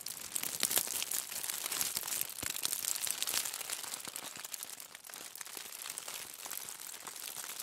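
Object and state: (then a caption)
Aluminium foil. A crumpled bundle of aluminium foil resting on a table is scratched and crinkled with the long nails of both hands. The result is a dense, continuous stream of bright, crackly crinkling with almost no low end. It is louder through the first half and eases to a softer, steadier rustle after about five seconds.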